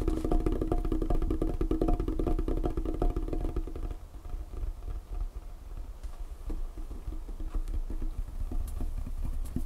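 Long painted fingernails tap quickly on a large, solid, dark wood tabletop, making dull, low, woody knocks with almost no ring. The tapping is dense and steady for the first four seconds, then turns quieter and sparser with occasional firmer knocks.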